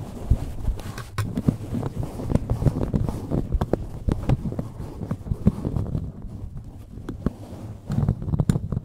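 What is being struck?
Open-cell foam microphone windscreen.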